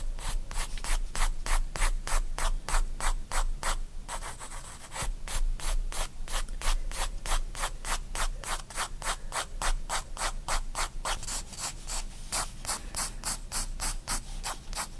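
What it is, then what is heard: Pencil hatching on a paper sketchbook page. A graphite pencil makes dense, sweeping hatching strokes across a spiral-bound paper sketchbook page. The rapid back-and-forth strokes come about three per second, each a bright, dry scratch and rub over a faint low hum, with a brief lighter stretch near the four-second mark.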